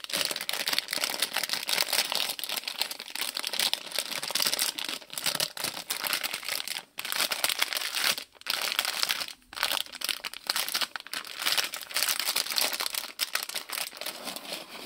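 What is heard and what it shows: A small printed plastic-film Lego polybag with bricks inside is squeezed by fingers, then pressed and rubbed flat against a table with the palms. The result is dense, continuous bright crinkling and crackling with almost no low end, broken by a few brief silent pauses.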